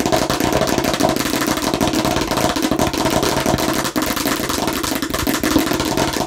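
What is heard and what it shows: Long nails on both hands tap fast on a hollow plastic watermelon-slice bottle, making a dense, continuous run of bright plastic clicks. The clatter carries a hollow, mid-pitched ring and stays steady and loud throughout, with only a brief dip near the four-second mark.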